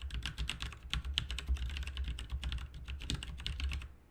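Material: Plastic.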